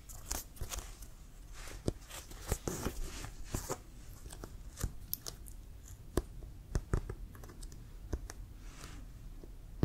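Fingertips tap and scratch near the white laces of a brown leather American football, hollow and inflated and held horizontally. Quick, dull hollow taps with a low thump stand out over a soft, continuous scratching hiss, spread unevenly across the clip with no ring after each hit.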